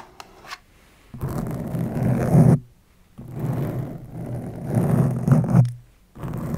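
Long nails tap and scratch the printed front panel of a small, closed cardboard Fitbit Versa 3 box held in the hand. A few faint taps give way to long, dense, low rasping scratch strokes that swell and fade, separated by short pauses.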